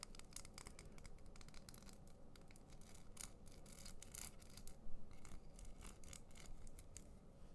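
A small hollow pen with a white plastic body and a crinkly, iridescent, zigzag-folded plastic foil barrel is held in both hands, twisted and squeezed with the fingertips. The result is quiet, continuous crinkling with bursts of sharp, bright crackles over a low, steady rumble.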